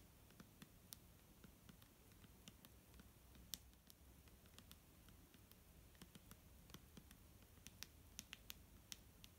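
A clear plastic micellar water bottle filled with liquid is tapped with fingernails, giving quiet, sharp, bright clicks that die away almost at once. The taps come in an irregular patter over a soft low rumble.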